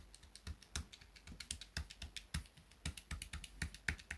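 A small grey plastic pocket calculator is held on a desk mat while fingertips rapidly tap and press its plastic keys. The result is a quick, uneven run of short, dry clicks, each with a soft low thump and a bright plastic tick that dies away almost at once.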